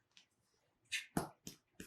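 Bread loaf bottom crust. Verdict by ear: Hollow.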